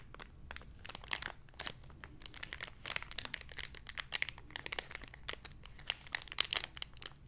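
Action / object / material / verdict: scrape / thin clear plastic blister package / plastic / none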